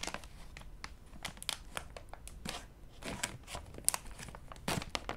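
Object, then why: Flexible plastic snack bag. A full, flexible, purple printed plastic resealable bag of mini muffins is held in both hands and squeezed and crinkled with fingertips while being opened at the top. Quick, bright crinkles and crackling snaps come in irregular bursts over a low background rumble, each dying away almost instantly.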